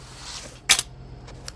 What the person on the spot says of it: We'll drop it on the desk here. No real sound.